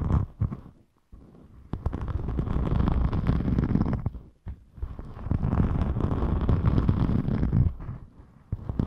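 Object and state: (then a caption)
Glitter foam sheet being scratched. A thin rainbow glitter foam craft sheet, held up, is scratched with long nails and fingertips. It gives dense, low, rumbly scratching in two long bursts, with short quiet gaps and a few isolated scrapes around them.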